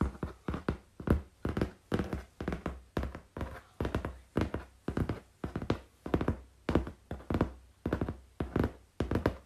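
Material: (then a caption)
Cardboard. Fingertips and nails tap on a flat brown corrugated cardboard sheet in quick, uneven bursts. Each tap is a short, dull, low thud that dies away almost at once, with a faint papery rattle above it.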